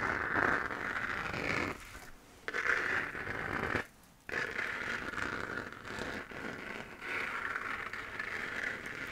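A hollow, textured 3D-printed plastic moon-lamp sphere glowing white is scratched with long nails. Continuous dry, raspy scratching centers in the upper mids with a bright edge, broken by two brief near-silent pauses.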